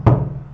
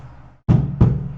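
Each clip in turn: First: knock on a wooden surface. Second: book knocked.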